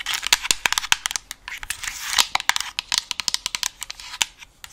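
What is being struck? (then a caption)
Plastic headset earcup. Long nails tap and scratch across a hollow white plastic gaming headset earcup with an alien logo. Many rapid, bright, clicky taps mix with a dry, scratchy rustle, nearly all of it in the high range with almost no low end. Each tap dies away almost instantly.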